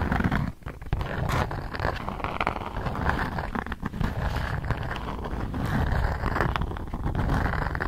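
A thin polka-dot beeswax-coated cotton food wrap sheet is held taut while long nails scrape and scratch across it. The result is a continuous, dense, low-heavy rustling and crackling with rapid, closely packed scratches and a brief dip in level near the start.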